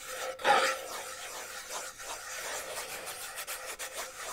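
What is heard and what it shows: A small, closed, round metal tin with a black side and a printed lid is held in one hand and scratched with fingernails around its side and lid. A louder, brighter rasping burst comes near the start, followed by steady, dry scratching with brief dips and no low end.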